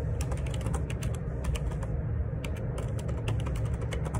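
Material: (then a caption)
Plastic. Continuous fingertip typing on a black Perixx Periboard 612 wireless Bluetooth dual ergonomic split keyboard, a hollow plastic body with plastic keycaps. Quick, light key taps click in a steady stream over a heavy low rumble, each tap flashing a bright crisp edge.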